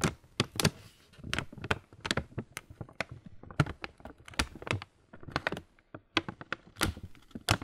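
A full printed laminated plastic Kellogg's muesli bag, standing upright, is tapped quickly with the fingertips and nails. The result is a rapid, uneven run of short, dry, crinkly taps with a bright papery edge and a low thud underneath. The taps die away almost instantly.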